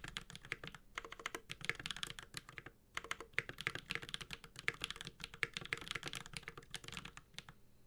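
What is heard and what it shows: A Space65 Cybervoyager 65% mechanical keyboard, with a white-gold aluminum case, GMK ABS keycaps and tactile Holy Panda switches, sits on a desk and is typed on continuously with the bare fingertips of both hands. The result is a rapid stream of crisp, bright clacks with very short decay, with a brief lull just before the three-second mark and another near the end.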